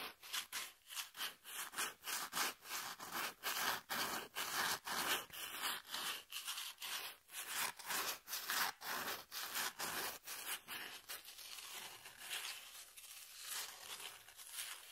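Long nails scratch the face of a brown corrugated cardboard piece and run along its exposed corrugated edge. The result is a series of dry, bright, rasping strokes with little low end. The strokes come in quick rhythmic bursts that blur into a steadier scrape toward the end.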